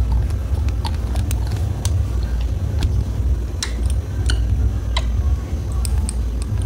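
Fingers lift a white rubber-topped glass dropper out of a small clear glass serum bottle partly filled with liquid and tap it against the bottle neck. Light, bright glassy clicks and ticks are scattered over a steady low rumble.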